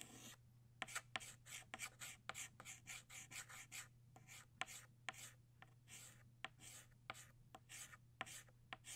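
An orange chalk stick traces and shades the small center of a flower on a flat black chalkboard. It makes a quick run of bright, scratchy strokes broken by short, sharp taps as the chalk meets the board. A steady low hum sits underneath.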